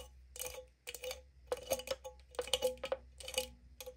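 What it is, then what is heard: Aluminum drink can lid. Long nails tap and flick the metal pull tab and top rim of an opened aluminum green tea can, likely empty. Quick, irregular bursts of sharp, bright clicks carry a faint metallic ring near 500 Hz that dies away almost at once.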